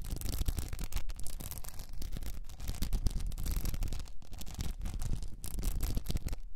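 Long nails scratch across the blue rhinestone mesh wrapped around a tilted cylinder held in both hands. The result is a steady stream of dense, crackly scratching with brief bright ticks over a strong low rumble, with only a few short gaps.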